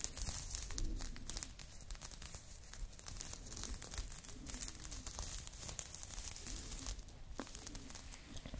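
Long nails scratch across a blue crochet knit top being worn, moving over the chest and shoulder. A steady stream of dry, bright scratching and crinkling rasps continues throughout, over a soft low rumble.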